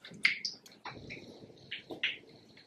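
A screw-cap plastic bottle of liquid exact-colour silicone mix, supplied very liquid so it can be mixed, is shaken by hand. The result is a run of quick, bright sloshing splashes and clicks over a faint background hiss.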